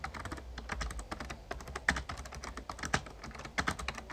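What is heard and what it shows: Fingertips of both hands type rapidly on an RGB-backlit plastic Razer Ornata Chroma membrane gaming keyboard with a hollow casing. A dense stream of short, crisp key taps with a soft low thump underneath, and a few louder, sharper strokes stand out near the end. Each tap dies away almost instantly.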